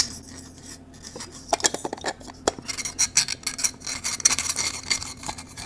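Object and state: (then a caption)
3D-printed plastic cylinder puzzle being rubbed. Fingertips rub and rotate the ridged parts of a small blue 3D-printed plastic cylinder puzzle held close. The sound is a bright, dry scratching and clicking with many short, sharp ticks that stop almost instantly, over a faint low hum.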